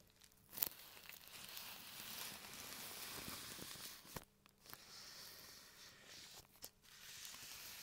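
Fingertips and nails scratch and crinkle the surface of a thin, translucent printed plastic bag lying flat on a table, bunching up one corner while microphones rest on the bag untouched. A steady, bright, papery crackle and rustle fills the clip, with a sharp snap near the start and another near the end. Two brief near-silent pauses break the crinkling.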